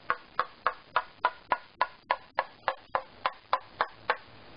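A wooden violin plate is tapped 15 times along its center line with a tapping tool, at a steady pace of about three taps per second. Each tap is short and dry, with a bright tone near 1–1.5 kHz. The pitch of its highest overtone shifts from tap to tap, which is used to find the plate's two mode 5 nodal lines and its acoustical center.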